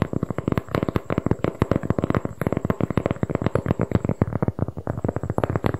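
A large, thin, flat round cork board is held close to the microphone and quickly tapped and scratched with fingertips and long painted nails. A rapid, steady stream of short, dry, thuddy taps with little ring fills the clip, mixed with soft scratchy textures and a faint steady high whine in the background.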